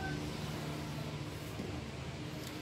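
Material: Nothing is struck.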